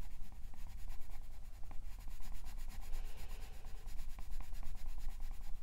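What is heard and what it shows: A green wooden colored pencil shades the leaf area of a printed paper page in a coloring book with rubbing, sanding-like strokes while the other hand rests flat on the page. The result is a steady, soft scratching and rubbing texture with a low rumble underneath and quick repeated stroke ticks, continuing without a break throughout.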